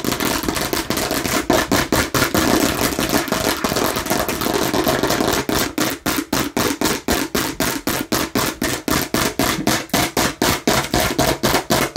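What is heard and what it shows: Aggressive tapping and scratching on a plastic (fake) watermelon slice. For the first half, dense, busy scratching and tapping blend together; it then shifts to rapid, sharp plastic taps at about four per second, each a short, dry click.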